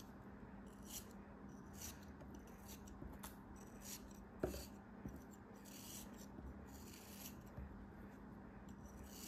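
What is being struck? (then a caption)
Molded kinetic sand shape scraped with a metal knife. A solid, molded pink kinetic sand figure held in the hands is scraped and shaved with a metal utility knife. Quiet, soft rasping strokes come in short bursts with bright, hissy edges, and one sharper tick of the blade stands out midway. A low, steady hum sits underneath throughout.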